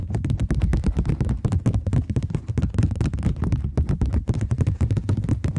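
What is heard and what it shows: A thin, flexible plastic Bank of England polymer £20 note is held between both hands, bent and snapped taut with fingertips and long nails. The result is a dense, steady run of quick, dry crackling snaps and crinkles, heavy in the low end, with each snap dying out almost instantly.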